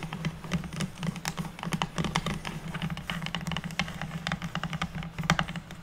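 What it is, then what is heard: Pine board tapped with fingernails. Long natural nails of both hands tap and scratch a solid, square, unfinished pine wood board lying on a table. Rapid, dry, clicking taps and light scrapes overlap with almost no ring. A steady low hum runs underneath.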